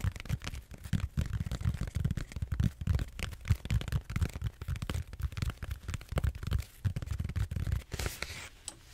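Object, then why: Bead-foam (styrofoam) roller. Fingertips and nails scratch and tap the textured surface of a large purple bead-foam (styrofoam) back roller, a solid cylinder held horizontally and then tilted. The result is a dense, continuous run of quick, dull, low thumps and scratchy rustles with very little ring. Near the end it shifts to a brief brighter, hissy scrape.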